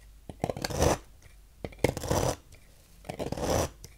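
A thin metal knife carves long, thin shavings into a pile from a small, solid, peach-colored translucent bar of soap held in the fingers on a table. Three drawn-out, crisp scraping strokes swell and fade, each broken up by small clicks and ticks, with quiet pauses in between.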